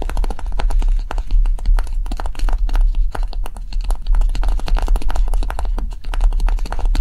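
Long nails rapidly tap and scratch a small, solid pink block of dried light clay with a rough, textured surface, first stood upright and then held. The result is a fast, steady stream of dry clicks and scrapes over a constant low hum.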